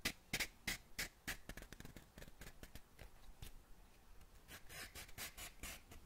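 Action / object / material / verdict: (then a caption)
scrape / cardboard matchbox with wooden matches / cardboard / none. Long nails scratch and rub a small cardboard matchbox whose drawer is half open and full of wooden matches. The result is a quick, irregular run of dry, bright scratches and taps with a papery rattle and almost no ring, the first strokes louder and sharper before softer rubbing follows.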